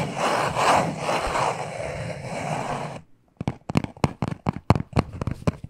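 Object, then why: Small cardboard box. A small, hollow black cardboard necklace box is scratched with short nails and fingertips, giving about three seconds of steady, rustling friction. After a brief pause, it is tapped in a quick, uneven run of sharp, dry knocks that stop almost instantly.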